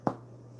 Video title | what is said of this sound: Brötchen & Broth: A Christmas Cook-Along with TC (Homemade Bread + Wild Rice Soup) attemp 3 | Got a nice hollow sound to it.